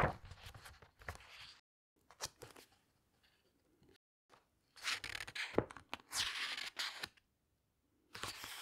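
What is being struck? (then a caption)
Glossy paper pages of a hardcover book. Long-nailed fingers press and turn the glossy paper pages of a large hardcover book lying open on a table. Short bright rustles, crinkles and swishing page sweeps come in bursts, separated by brief silent pauses.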